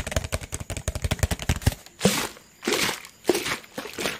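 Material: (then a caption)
Plastic. A clear, thin, hollow PET plastic water bottle is squeezed and crumpled in the hand. For nearly two seconds it gives a rapid string of sharp, bright crinkling cracks, then several longer, broader crunching bursts separated by brief pauses.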